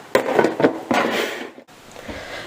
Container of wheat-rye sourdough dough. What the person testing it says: стучим по донышку и звук достаточно глухой